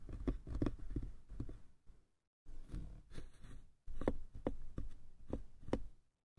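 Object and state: Hollow wooden box.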